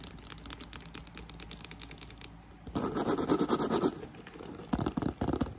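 Long nails scratch the handles of a black croc-embossed faux leather handbag, then rake across the front and side of the embossed surface. Quick, rough scratching strokes sound softly at first, then grow into louder, denser bursts. A fan hums steadily in the background throughout.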